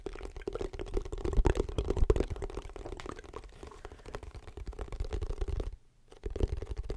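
Fingernails tap and scratch the face of a hollow wooden folding chess board held in front of the mic, then move to the edges of the closed box. It produces a dense run of soft, quick, dry taps and scrapes over a steady low hum, with a brief near-silent gap before the tapping resumes.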